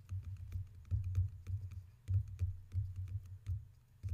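Two water cups are tapped repeatedly for ASMR with no talking, giving quick, low, thudding taps mixed with faint higher clicks. The taps come in uneven clusters with short rests between them and die away almost at once.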